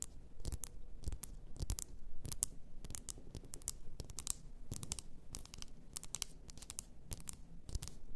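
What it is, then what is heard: Glass bottle full of bath salt. Long nails scratch and tap a large bottle, apparently glass, filled with pink bath salt, working over the bottle and its upper glass. A steady run of sharp, bright clicks and scratchy bursts dies away almost instantly, over a quiet low rumble.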